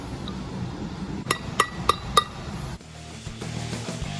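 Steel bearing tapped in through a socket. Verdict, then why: Seated. A new steel flywheel bearing on a truck is tapped into the flywheel through a socket on its outer race. Four sharp metallic taps ring out around 1.2 kHz over a low background hum, and the change in the tapping sound shows it is fully seated. The bearing still turns smoothly, a normal result.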